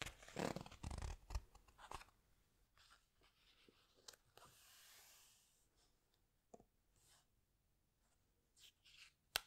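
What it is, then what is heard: Glossy paper book pages. Fingertips press and slide over the glossy paper pages of a large open hardcover book, then slowly turn one page. Loud crinkly rustles and crunches open the clip, followed by a soft, airy swish as the page turns. Scattered faint taps and brushes follow, ending with a sharp, bright click.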